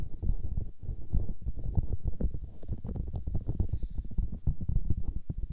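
White silicone microphone ears are rubbed and pressed by fingers and thumbs. The result is a dense run of low, muffled squishing and thumping sounds with a deep rumbling character and almost no high end.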